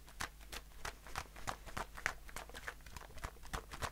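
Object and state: Aluminium shaving foam can.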